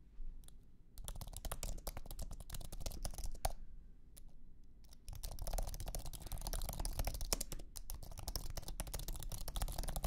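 Fingertips type on a thin Apple iMac keyboard with an aluminum base and white low-profile plastic scissor keys, resting on a carpeted surface. Quick, light, dry clicks come in dense bursts, with a softer lull near the middle before typing picks up again. A steady low rumble sits underneath the clicks.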